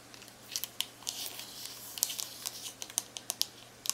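Long acrylic nails and fingertips rapidly tap and click the rubbery plastic keys of a handheld black plastic Texas Instruments graphing calculator with a hollow body, held in hand. About fifteen sharp, dry, bright clicks stand out over a soft, crinkly rubbing texture. Each click dies away almost instantly, with almost no low end.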